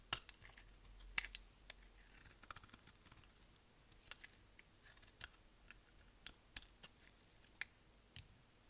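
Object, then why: Glycerin soap bar and knife blade. A utility knife blade scrapes a solid, dry, translucent amber glycerin soap bar held in the hand. About fourteen short, crisp, bright scraping clicks come at an uneven pace over a quiet, faint hiss. Each one stops almost instantly with no ring.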